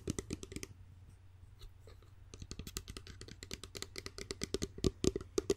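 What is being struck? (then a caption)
Glass spray bottle with pump cap. Long nails tap and scratch along the body and pump cap of a clear, hollow spray bottle that looks like glass, held close to the microphone. Rapid, dry clicks with bright edges and a faint ringing tone ride over a steady low hum. The tapping eases into softer scratching before building back up to louder, sharper taps at the end.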